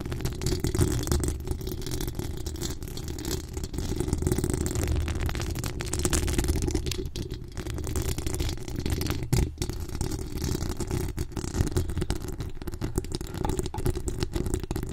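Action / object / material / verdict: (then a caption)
scrape / steel mesh microphone grille / steel mesh / none. Long acrylic nails scratch the hollow steel mesh grille of a pink decorated microphone, giving a steady low rumbling rasp with a dense, fast run of small scrapes and rattles. Most of the energy sits in the low end around 100 Hz, with only a thin, faint top.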